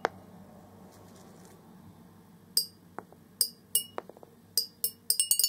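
Single orange plastic BB balls drop from above into a large, hollow clear glass jar resting on carpet and bounce on its glass bottom. Each one makes a bright, high clink that dies away quickly, with a few softer taps in between. The clinks are spaced apart at first and then come in a quicker cluster toward the end.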